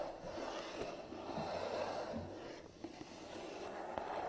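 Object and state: Cardboard box being scratched.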